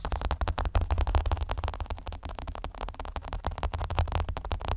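Plastic headphones are tapped with rapid, irregular taps, about three per second, for nearly five seconds. Each tap is a short, dull thump centered low, around 70 Hz, with a faint clicky top and almost no ring.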